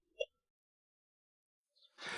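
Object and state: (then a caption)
Ringing bell stone, hollow underneath. A large cliff-side rock, known locally as the "bell-striking stone," is struck with a loose stone at another spot; the rock rests on only a few points with much empty space beneath it. A short, crisp bell-like ping around 540 Hz with bright overtones is heard, followed after a pause by a louder, noisier burst at the end. This spot rings the same as elsewhere on the rock.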